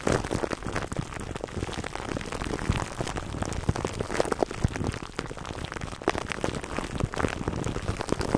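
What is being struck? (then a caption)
Plastic cling wrap over a foam microphone windscreen. Fingertips and short nails of both hands scratch clear plastic cling wrap stretched over a black foam microphone windscreen, close up. A dense, continuous crackling crinkle of many quick, dry snaps fills the clip, weighted toward the low end with little brightness.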